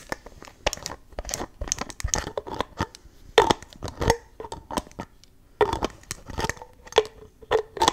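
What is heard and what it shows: Long nails tap, pull and twist the white cap and nozzle of a clear plastic spray bottle filled with pink liquid. The result is a quick run of dry, crisp clicks and crinkly scrapes, and a few louder snaps carry a short mid-pitched plastic ring that dies away fast.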